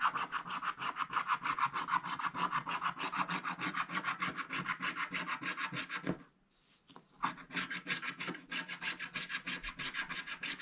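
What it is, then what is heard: Scratch-art paper page being scratched. A wooden stick scratches the upper black area of a scratch-art page in a book, a black wax-coated card, in short strokes while the other hand holds the page. The result is a rapid, fairly steady run of dry, raspy scratching strokes, about three per second, centered near 1 kHz with a bright edge. There is a brief near-silent pause just after the six-second mark before the scratching resumes.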